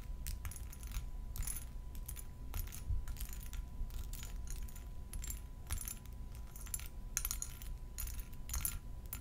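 A palm-sized, faceted purple glass perfume bottle with a round purple cap, made of solid thick glass with liquid inside, is held in both hands and tapped with long gold metal filigree nail claws. Bright, short clicking taps come in quick irregular clusters over a steady low hum, each tap dying away almost at once.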